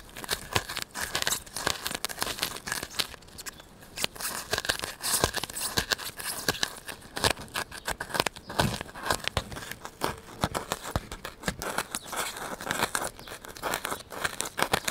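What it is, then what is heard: Styrofoam block. A solid white styrofoam block, already dented from earlier work, is held in the hand and poked and scratched with a needle and fingers. The result is a dense, continuous run of sharp, bright crunching and crinkling scratches with a tearing, squeaky texture.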